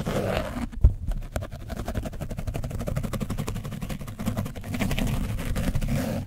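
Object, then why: Foam microphone windscreen with dried paint, scrubbed with a foam brush. A foam brush is scrubbed across an orange foam microphone windscreen caked with dried paint. It makes a dense, low, muffled scratching and rubbing made of rapid strokes, with a brief thump near the start. The scrubbing continues steadily to the end.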